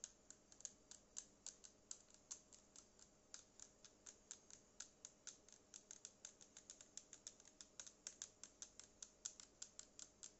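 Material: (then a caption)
Plastic. Long painted acrylic nails tap the hollow body of a small black cylindrical Bluetooth speaker, which has a matte plastic or rubberized finish and a yellow logo. About fifty quick, dry, bright clicks follow one another at a steady, gentle pace, each dying away almost instantly. A faint steady hum sits underneath the whole time.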